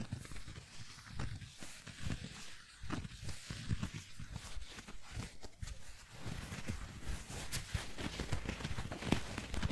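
Long nails tap and scratch a palm-sized squishy foam donut with blue icing. Soft, dull, low thuds come in an irregular rhythm, mixed with faint brushing scratches that add a light, bright texture.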